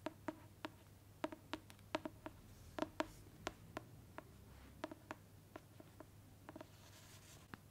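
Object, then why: Hardcover book tapped with fingernails. A large dark hardcover book with a textured printed cover, held upright, is tapped and scratched with long pointed black fake claw nails on one hand and natural nails on the other. About two dozen sharp, dry clicks ring briefly with a hollow tone around 300 Hz and bright upper edges, over a quiet low hum and faint scratching between taps.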